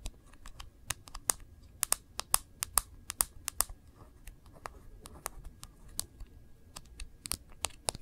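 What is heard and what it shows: Long nails tap quickly on the black glass screen and edge of an iPhone in its case, held sideways, making a rapid series of sharp, bright clicks like typing on a keyboard. Each tap is very short and dry, with uneven spacing and strength, over a faint low rustle.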